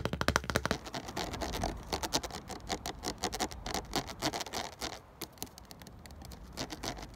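A fingertip and nail scratch and tap along the ridges of a full 500 ml ridged clear plastic water bottle held in hand. The result is a rapid, dense run of dry, bright clicks and scratchy scrapes that die away almost instantly.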